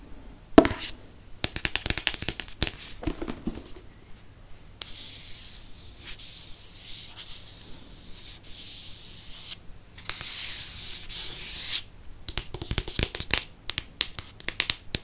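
A hardcover paper Harry Potter book is held sideways while fingertips and nails tap and scratch its green cardboard spine. Quick, dry taps open and close the clip, with a long stretch of steady, bright, hissing scratches in between.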